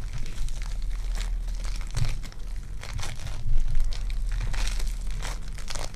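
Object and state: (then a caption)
Foam clay being kneaded. A small solid lump of lavender foam clay (polystyrene bead clay) is pinched, pulled and kneaded between fingertips with long dark nails. It gives a steady stream of dense crinkly, crunchy crackles over a low background rumble, with a few louder bursts along the way.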